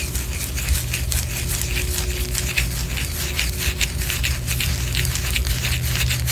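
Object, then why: Wax pillar candle. Long orange nails scratch a white solid wax pillar candle, producing a steady, dense run of dry, bright scratching and crackling strokes. A low rumble runs underneath the scratching throughout.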